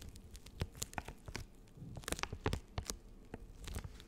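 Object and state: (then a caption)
Plastic wet wipes packet, full. Long acrylic nails tap, scratch and crinkle the plastic film of a full, hand-sized soft plastic packet of Nectar of Bio facial wet wipes held in both hands. Quiet, uneven crinkling is punctuated by sharp, bright ticks and taps, with a soft low rustle underneath throughout.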